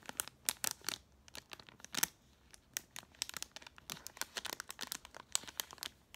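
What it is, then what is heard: Plastic retail bag of mascara wands. A small clear plastic retail bag with a cardboard header card, full of 12 plastic mascara wands, is held in both hands and crinkled and scratched with long painted nails. Quiet, irregular bursts of sharp, bright crinkling and scratching come in dense clusters with brief pauses between them. The sound is dry and crisp, with almost no low end and no ringing after each crackle.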